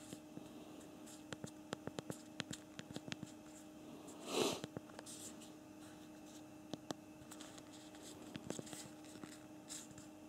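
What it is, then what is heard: Plastic phone keyboard. Thumbs press the keys of a BlackBerry Priv smartphone's physical plastic keyboard while typing, producing a quiet, irregular run of short, sharp clicks. A faint steady hum sits underneath, and a brief, louder rustling swish rises and fades midway through.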